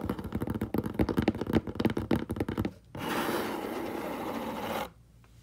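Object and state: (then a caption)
Cardboard box scratched. Fingertips and short nails scratch quickly across the flat side of a large, hollow, brown corrugated cardboard box, making a rapid run of dry, hollow scratches for about two and a half seconds. After a brief pause, they rub steadily across the surface for about two seconds, producing a continuous bright, papery rasp. The sound then stops and fades to near silence.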